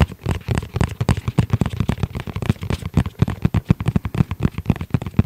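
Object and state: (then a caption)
Hard-shell zip pouch. Fingertips tap the flat surface of a tablet-sized black hard-shell zippered case with red trim, held in both hands. The result is a rapid, irregular stream of short, dull, low thuds with almost no ring.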